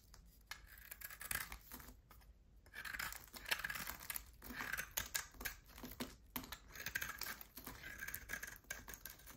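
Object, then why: Hard bar of soap. A solid oval bar of hard soap with a black coating and a pale yellow core is held in one hand and shaved with a utility knife blade. Quiet, dry scraping and crumbling come in uneven bursts, bright and crisp with almost no low end.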